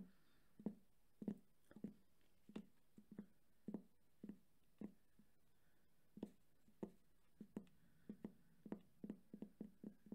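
Fingertips tap rapidly on and around the rubber end cap of a hollow, red JBL cylindrical portable speaker with a fabric grille, held upright in one hand. Quiet, dull, hollow thuds with a low pitch near 200 Hz land in an uneven, quick rhythm, each dying away almost at once.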